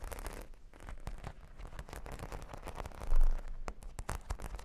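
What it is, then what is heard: Cork board with plastic pearl studs. Long pink nails scratch and tap across a solid, flat cork board covered with plastic half-pearl sticker studs. The sound is a steady, bassy scratching dotted with quick clicking taps, swelling briefly into a louder, deeper rub near the end before the taps continue.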